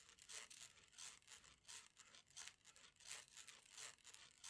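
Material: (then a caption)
Plastic. A rainbow plastic slinky, a hollow coil held in both hands, is flexed back and forth so its coils slap together. It gives a steady run of bright, hissy clattering bursts that rise and fall with each flex. There is almost no low end.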